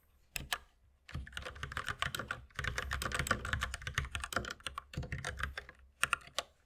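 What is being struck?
Plastic mechanical keyboard.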